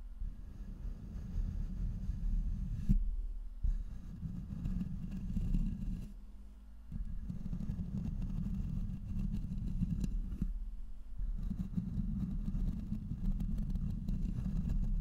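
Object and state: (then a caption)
Microphone body being scratched. Fingertips and nails of both hands brush and scratch the hollow metal body and grille of a black cylindrical studio microphone on a boom arm. The result is a dense, low rumbling scrape with a steady hum-like tone near 200 Hz, broken by short quieter gaps around 3–4, 6–7 and 10.5–11 seconds.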